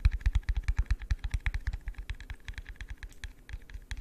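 A hollow, empty, yellow translucent plastic cup is held near the mic and tapped with fingertips. About thirty quick, slightly irregular taps follow one another, each a deep, dull thump with a short, bright click on top and almost no ring. The taps are loudest at the start and grow gradually softer.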